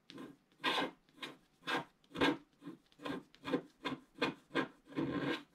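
A wooden stick scratches the upper right area of a black scratch-art paper page in a book while the other hand rests flat on the page. About twelve separate raspy scratching strokes are heard, each a dry rub with a low-mid body and a bright, airy edge, fading quickly between strokes.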